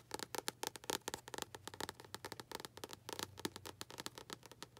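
Long acrylic nails tap and scratch across the front paper cover of a tilted paperback book. The result is a rapid run of dry, bright clicks and scratchy strokes, each dying away almost instantly, over a faint low hum.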